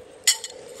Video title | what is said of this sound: 【小林家的美食】，不管是什麼黃金，只要用一根針，真假黃金立馬現原形，我也是今天才知道，看完別再傻傻被騙了。 | 黄金发出的声音则是完全的不同从这个方面 也是特别的好鉴别我们的黄金的真假